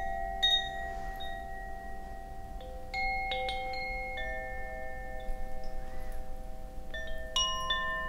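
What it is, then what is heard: Bamboo Koshi wind chime. A hollow bamboo Koshi wind chime, with internal metal rods and a wooden clapper, is held high by its cord and swung or shaken by hand. Its clapper strikes the rods in scattered bursts, each setting off clear, high, bell-like tones that ring on and overlap into a shimmering, sustained wash. A steady low background hum sits underneath.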